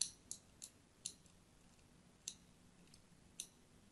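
A thin blade scores crosshatch lines into the surface of a solid, palm-sized pink-and-white striped soap bar held in the hand. It makes six sharp, bright scratching clicks spaced unevenly across the clip. Each one dies away almost at once against a quiet background.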